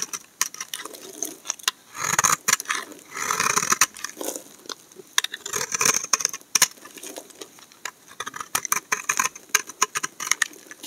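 A steel utility knife blade scrapes curls off the corner of a solid cream soap bar held in the hand. The result is a rapid run of crisp, bright, dry scraping clicks and short rasps with no ring, thickening into denser shaving bursts early on before settling back into quick separate scrapes.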